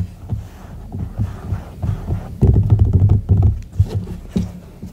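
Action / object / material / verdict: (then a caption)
tap / silicone duck-shaped night lamp / silicone / none. Fingertips tap the body of a hollow white silicone duck night lamp resting on a wooden table. The taps come as quick, irregular, soft, low thumps with a deep hollow tone, dying away quickly and with almost no bright content.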